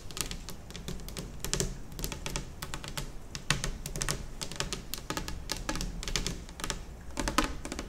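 Long nails on both hands tap fast across a large, solid, white glossy laminate kitchen table top. Crisp, bright clicks fall in quick irregular bursts over a low, steady rumble, each tap dying almost at once.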